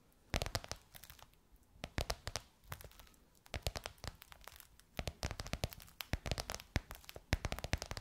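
Long nails tap and scratch gold crocodile-embossed faux leather on the rounded edge of a box or book. Quick, dry clicks come in dense bursts with crinkly scratching between them, and nothing rings on after each tap.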